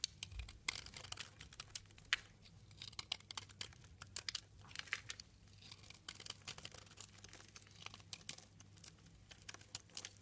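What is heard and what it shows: A utility knife blade scrapes and cuts crumbs from the edge of a solid light green bar of soap held in the fingers. Quiet, dense, bright crackling and crisp scraping clicks come in quick, irregular bursts over a faint steady low hum.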